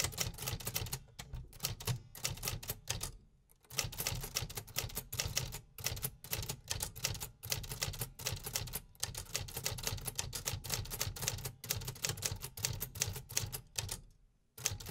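Fingertips press the keys of a vintage 1950s Remington metal typewriter with paper in the carriage, producing rapid, repetitive, bright mechanical clacks with a low thump under each strike. The typing runs steadily, with brief pauses around the 3- and 14-second marks before resuming.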